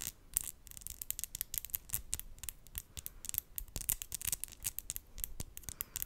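Long decorated acrylic fingernails, gold and pastel on both hands, are tapped and clicked against each other close to the microphone. The small, hard, thin nails make a quick, irregular run of sharp, bright clicks that stop almost instantly, over a quiet low rumble.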